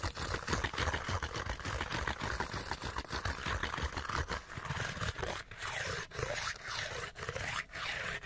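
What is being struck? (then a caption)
Small printed cardboard light bulb box. Fingertips and nails scratch fast at a small, hollow, empty Panasonic light bulb box of printed cardboard held in both hands. The result is a dense, continuous rasping scrape with a low papery rumble underneath. In the later seconds the scratching comes in brief separated bursts with short dips between them.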